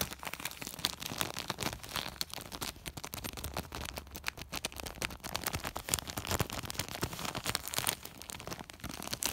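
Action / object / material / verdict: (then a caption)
scrape / woven polypropylene sack / polypropylene / none. Fingertips and short nails scratch and rub the crinkly woven surface of a large white woven polypropylene plastic sack. The result is a dense, continuous stream of quick, dry crinkling and scratchy rustles, bright and hissy, with a faint low rumble underneath.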